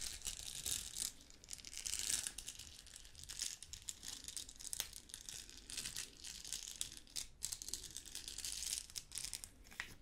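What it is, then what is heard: Plastic rhinestone sticker sheet. A hand-sized, thin flexible sheet of small pink and clear plastic rhinestone stickers on a clear plastic backing is scratched, rubbed and crinkled with long pink nails, then bent and rolled at the end. The result is a continuous stream of bright, dry crinkling and scratching with sharp ticks and almost no low end.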